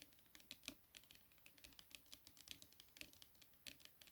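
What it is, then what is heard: Hardback book cover. Fingertips tap rapidly on the cover of a hardback copy of The Midnight Library. The taps are quick, light, bright clicks that stop almost instantly, with occasional louder strikes standing out among the softer ones. There is little low end, and the patter is steady and close, much like typing.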